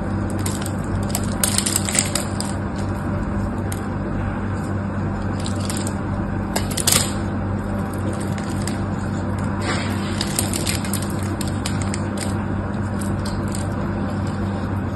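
A knife scrapes a solid, dry pink soap bar held in one hand, shaving off crumbly pieces that fall onto the table. Brief, bright crackling scrapes and ticks come in scattered bursts over a steady low hum that runs throughout.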